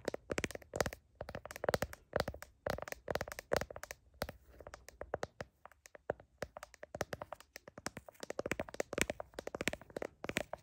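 Long nails rapidly tap and scratch the back of a handheld smartphone in a blue heart-pattern plastic case and across its camera lenses, recorded by the phone's own mic while it is held up to a mirror. The sound is a dense run of short, dry clicks with a hollow plastic tone around 566 Hz, bursting in quick clusters with faint scratchy rasps between them.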